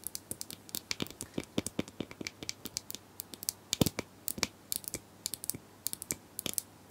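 Plastic brushes are tapped and scratched in a steady run of about forty-four short, crisp, bright clicks and scrapes with almost no ring. The dry, rapid taps fill the clip at a soft level.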